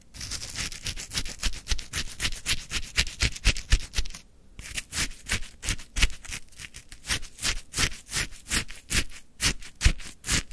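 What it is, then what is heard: Lemon shaved ice scraped with a wooden stick. A wooden stick pushes down into and scrapes the icy crystals of lemon frozen shaved ice in a full plastic cup. It makes a rapid series of crisp, bright crunching scrapes, each with a soft low thump. There is a brief pause just past four seconds before the steady crunching resumes.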